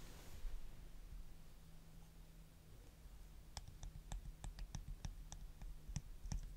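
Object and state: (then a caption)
Plastic nail polish bottle tapped with fingernails. Short natural fingernails tap and click on a small blue star-shaped children's nail polish bottle with a pink cap, apparently plastic and probably partly filled with polish, held in both hands. After a quiet stretch with a faint low hum, a run of crisp, quick, bright clicks begins partway through and continues to the end.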